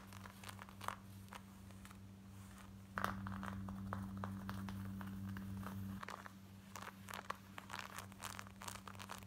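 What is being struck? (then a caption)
Denim jeans. Long nails scratch quickly over the waistband and front of worn black denim jeans, making fast, uneven bursts of dry, rasping scratches. A steady low hum sits underneath throughout and grows louder between about 3 and 6 seconds.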